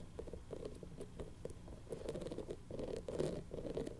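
A colorful, hand-sized soft rubber toy ball covered in spikes is scratched and rubbed with long nails and fingertips. The result is a quiet, continuous patter of soft scratching and rustling, with dull low-mid texture and faint bright ticks from the nails, growing a little busier toward the end.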